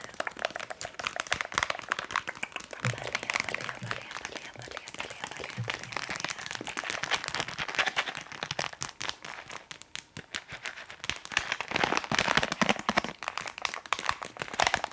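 A small, flat, filled Balea plastic bath salt sachet, held in both hands, is tapped and scratched with long nails. Fast, dense crinkling and crackling taps run throughout, bright and dry with almost no ring. The sound eases briefly around ten seconds before returning in louder bursts.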